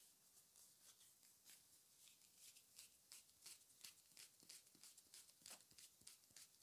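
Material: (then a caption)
Plastic. Short fingernails and fingertips tap and rub along the body and pink spray cap of a small, hollow pink plastic spray bottle with a printed label, held in both hands, its fill not visible. The result is a quiet, steady run of crisp, bright, dry clicks and scratchy rubs, each dying away almost at once, with hardly any low end.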